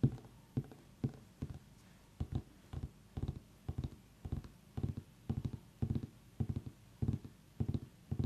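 Fingers tap on a pumpkin in a quiet, irregular rhythm, producing soft, hollow, low thuds that stop almost immediately with no ring. The taps often come in quick pairs or short clusters separated by brief pauses.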